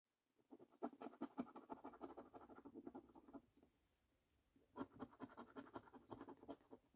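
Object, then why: Paper scratch card with latex coating. A coin held between the fingertips scratches the latex coating off a thin, flat paper lottery scratchcard lying on a dark table. Quiet, rapid, gritty scraping comes in two bursts separated by a brief pause, with a mid-range rasp and faint high hiss.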